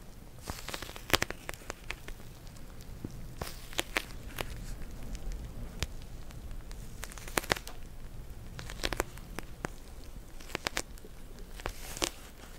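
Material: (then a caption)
Plastic. Long nails scratch and tap the surface of a flat pink plastic hot and cold pack filled with gel beads. Sharp, bright crackling ticks burst irregularly over a steady, soft scratchy hiss and a low rumble, giving a busy, crinkly texture throughout.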